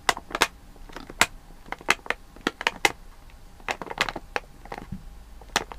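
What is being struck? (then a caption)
Sealed plastic candy bag. Fingertips and nails tap and rub the back side of a full, sealed plastic Malang Cow candy bag. About eighteen sharp, bright crinkly taps and rustles come in an irregular rhythm, each dying away almost instantly, with soft scratchy rubbing between them.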